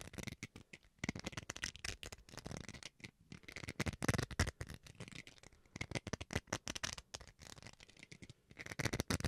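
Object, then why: Plastic rice paddle. Fingernails scratch the bowl face of a small, solid white plastic rice paddle. Quick, dry scratching strokes come in dense bursts with brief pauses, giving a crisp, bright, papery texture with a soft low body. The sound is quiet, with no ring after each stroke.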